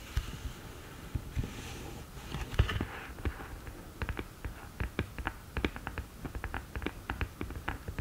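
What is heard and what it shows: Long nails tap the top of the open lid of a black cardboard eyeshadow palette. A soft, scattered start gives way to a quick, uneven series of short, dry taps, each a dull low knock with a brief bright click that dies away almost at once.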